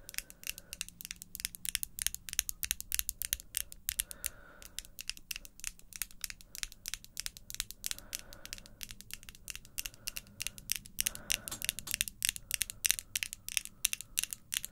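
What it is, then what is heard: Acrylic false nails tapped together. Long pink acrylic false nails, small and made of solid hard plastic, are clicked and tapped together with fingertips and nails. A quiet, rapid stream of sharp, bright clicks comes from the nail-on-nail tapping, each tick dying away almost instantly.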